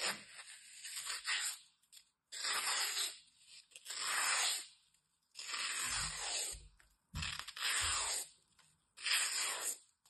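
A utility knife blade cuts and scrapes into the side of a small, solid, dry green floral foam block held in the fingers and gripped by long red nails. Repeated bright, crunchy tearing scrapes come in irregular strokes separated by short silences, with a few faint low thumps in the middle.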